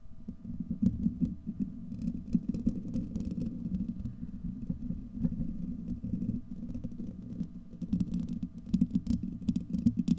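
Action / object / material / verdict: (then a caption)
scrape / steel wire-mesh microphone grille / steel mesh / none. Fingertips and nails of both hands scratch and rub the hollow, domed steel wire-mesh grille of a large desktop microphone. The result is a dense, continuous low rumbling scrape, sprinkled with quick, sharp clicks and brighter crackles that swell toward the end.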